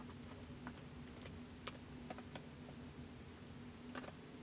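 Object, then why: Plastic laptop keyboard. Fingertips of both hands slowly type on the white plastic keys of a laptop keyboard, producing soft, short, bright clicks spaced unevenly apart. A steady low hum and faint rumble sit underneath the quiet tapping.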